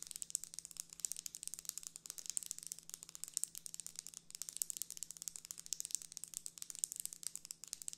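Long nails rapidly scratch and tap the ribs and folded leaf edge of a closed folding hand fan with a pink plastic frame and printed paper leaf, held in one hand. The result is a dense stream of quiet, bright crinkling and sharp clicking ticks, with a faint steady low hum underneath.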